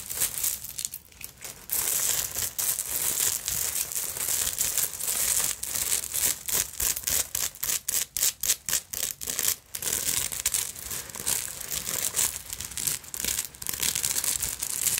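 Long acrylic nails scratch across the beads and sequins of a black vintage beaded sequin fabric purse with dangling bead fringe. The sound is dense, bright, crinkly rasping with almost no low end. It runs as a steady texture broken by a quicker run of short, separate strokes near the middle.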